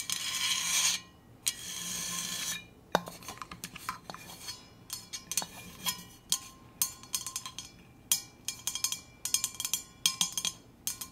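A stainless steel Hydro Flask insulated water bottle is first scratched in two long, bright, hissing strokes, then tapped in a long series of quick, clinky metallic knocks with a ringing tone that fades almost at once.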